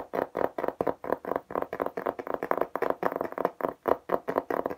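Fingertips and nails tap fast on a flat beige plastic tablet cover with an embossed geometric pattern, held upright in both hands. The result is a rapid, continuous run of short, dry clicky taps centered in the mids around 500 Hz, each dying almost instantly, with little low end.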